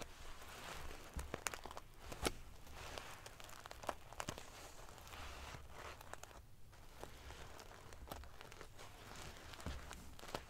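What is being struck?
Pillow covered in metal sequins.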